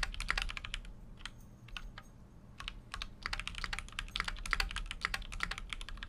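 A full-size Keychron Q6 mechanical keyboard, with an aluminum case and plastic keycaps, is typed on continuously with fingertips. Quick, bright, short clicks come in uneven bursts, with a brief slower stretch in the middle, over a low steady hum.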